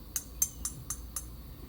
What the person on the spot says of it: But this has much more of a pingy sound rather than that thuddy muted sound. This is a much louder, right? Sounds like metal here.